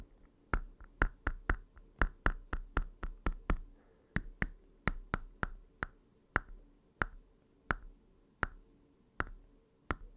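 Short fingernails tap 23 times on the hard plastic screen cover of an open red Game Boy Advance SP, a small hollow red plastic handheld console with its screen off. Each tap is a crisp, dry click with a faint hollow knock underneath that dies away almost instantly. The taps come in a quick, steady run at first, then space out toward the end.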